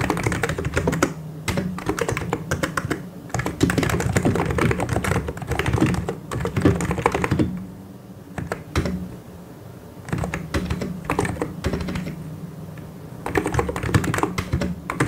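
Both hands type continuously with their fingertips on a full-size mechanical keyboard with white and grey plastic keycaps and hollow key switches, pressing and tapping the keys. Dense, clattering bursts of hollow plastic clicks and thocks run over a low steady hum. The typing eases into a quieter stretch around the middle before picking back up.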